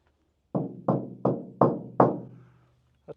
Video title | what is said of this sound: Ranger Raptor sound deadener install... it's SO QUIET!!! | on a big empty panel, I'll show you what it sounds like. That's pretty hollow sounding.